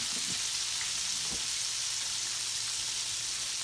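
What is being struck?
Nothing is struck.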